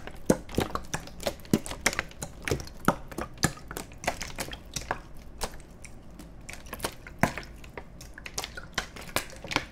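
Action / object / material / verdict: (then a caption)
scrape / plastic water bottle / plastic / none. An empty, hollow clear plastic (PET) water bottle is held horizontally in both hands and squeezed and crinkled with the fingertips close to the microphones. A rapid, irregular string of sharp, bright crackles and pops rises over a soft, steady low hum. Each snap dies away almost instantly, and there are a few louder bursts along the way.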